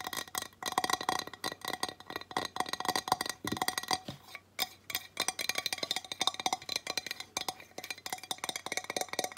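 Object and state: Ceramic tile sign.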